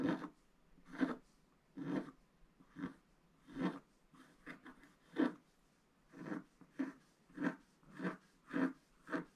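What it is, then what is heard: Wax-coated scratch art paper being scratched. A wooden stylus rubs and scratches across wax-coated scratch art paper to fill in the coral area of a scratch art page. It makes a steady series of short, dry rasping strokes, each with a soft, low-mid body and a thin bright edge. Quiet pauses fall between the strokes.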